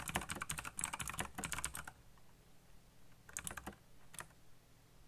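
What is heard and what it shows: Fingertips type on the keycaps of a backlit black plastic mechanical keyboard, producing a rapid, dense burst of bright clacking keystrokes for about two seconds. After a short pause with only a faint low hum, a few more scattered key presses follow before the clip fades out.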